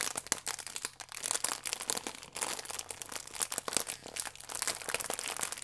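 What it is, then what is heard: Plastic film food wrapper being crinkled. A plastic film croissant wrapper, bunched around the croissant, is scrunched and crinkled in both hands. The result is a dense, continuous stream of bright, sharp crackles and crinkles with almost no low end.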